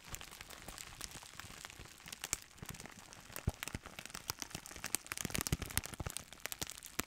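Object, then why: Plastic bubble wrap roll. A clear plastic bubble wrap roll in a printed sleeve, with air-filled bubbles, is squeezed and crinkled with fingers and held close at the end. Dense, bright crinkling is broken by many short, sharp crackles and snaps. The crackles grow louder and busier in the last couple of seconds.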